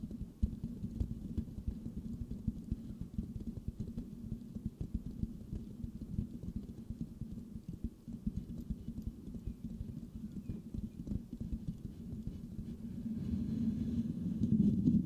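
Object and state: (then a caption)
Metal mesh microphone grille. The rounded, hollow metal mesh grille of a white microphone is scratched and tapped with the fingertips of both hands. The result is a dense, irregular stream of muffled low thumps and rustling scrapes centered around 200 Hz, with very little bright content. The sound grows louder and fuller toward the end.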